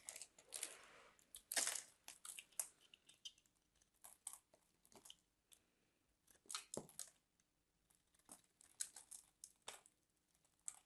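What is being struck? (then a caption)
Bar of soap carved with a metal blade. A palm-sized solid white bar of soap with a grid pattern is held in the fingers and carved and scraped with a metal craft knife blade, sending soap flakes falling off. Repeated short bursts of crisp, bright scraping and crackling come with quiet pauses in between. The sound is almost all high-frequency with very little low end.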